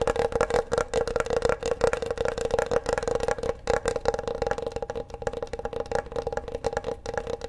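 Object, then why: Bamboo wooden cutting board. Fingertips and nails tap and scratch the surface of a large, flat, solid bamboo wooden cutting board held upright behind the microphone. A rapid, continuous flurry of dry, short taps carries a woody midrange tone near 480 Hz, with soft scratching between them. Each tap dies away almost instantly.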